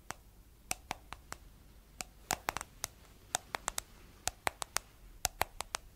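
Long nails tap the white plastic lid and blue body of a round, hollow, palm-sized plastic cosmetic jar. About 22 quick, sharp, bright clicks come in uneven bursts, each with a hollow tone around 770 Hz. Every click dies away almost instantly, leaving a faint background hiss.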